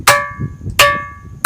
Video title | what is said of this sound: रहस्यमई पर्वत - चमत्कार देख कर रह जाएंगे दंग | आवाज बिल्कुल घंटे की तरह आ रही है